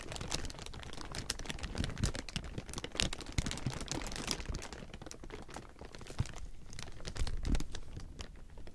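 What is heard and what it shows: Clawed fingertips scratch and crumple a large heap of thin, clear plastic film, producing a dense, continuous crackling crinkle. Sharp, bright snaps ride over a low, rustling rumble, with a few louder bursts standing out.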